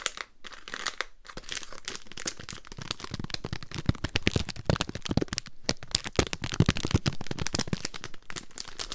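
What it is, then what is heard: Foil-paper wrapped mint roll being crinkled. A small, full pack of Polo mints in a foil-paper wrapper is held up close while long nails and fingertips crinkle and scratch the wrapper. Dense, sharp crackles and crinkles run continuously with bright, crisp transients and a soft low rustle underneath, pausing briefly near the start and again midway. The result is a steady, close-up crinkling texture with frequent louder snaps.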